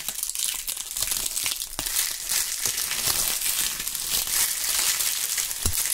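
Bunches of dry, brittle brown maple leaves are held in gloved fingers and crumpled and rubbed near binaural microphones. The result is a steady, dense, bright crackling and crinkling, with a few sharper snaps standing out from the texture.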